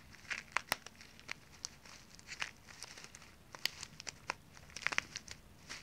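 A small plastic resealable zip-lock pouch full of dry water beads is held upright in both hands while fingers crinkle and squeeze it and long nails scratch its surface. Quiet, bright crinkles and sharp clicking snaps pop out irregularly over a soft rustling bed, with almost no low end and each snap dying away instantly.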